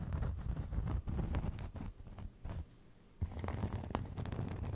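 A round cork trivet is held close and scratched and tapped with fingernails, making soft, dull, low-heavy scratching with quick taps and a few brighter clicks. The sound goes quiet for a short moment before the scratching and tapping pick up again.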